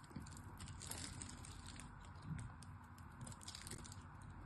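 A small knife chips at the surface of a solid, hard striped pink-and-white glycerin soap bar. Quiet, crunchy scraping and crackling come in quick bursts with bright, crisp edges. A steady low rumble sits underneath throughout.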